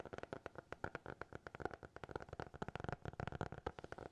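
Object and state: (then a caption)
Hardcover notebook. A small, closed black hardcover notebook held in both hands is tapped and scratched with fingertips and nails. The result is a fast, uneven run of short, dry taps with quick scratchy strokes, each dying away almost instantly with a low, hollow body.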